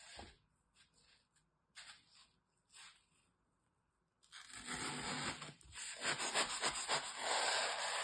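A metal utility knife blade scrapes and slices into the top edge of a large, solid, dry block of green floral foam with layered cut edges, held in a hand with red nails. Three light, brief scrapes are followed by a louder, continuous dry crunching and rasping with a bright, hissy texture as the blade cuts steadily through the foam.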